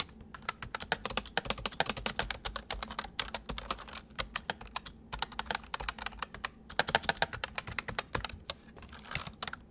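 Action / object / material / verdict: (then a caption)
tap / plastic mechanical keyboard / plastic / none. Both hands type with their fingertips on a full-size white plastic mechanical keyboard with white keycaps resting on a wooden desk. Rapid, sharp, bright clicky keystrokes come in quick bursts with brief pauses, each one dying away almost instantly over a faint low background.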